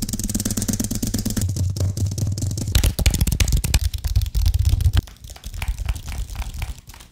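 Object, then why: Aluminium and plastic computer keyboard. A white Apple-style wireless keyboard, flat, fairly thin and solid with an aluminium base and plastic keys, is held close to a microphone while fingertips tap and click on its keys and frame. Rapid, dense taps and clicks land with a heavy, close, low-end thump for about five seconds. After that the tapping turns softer and quieter until the end.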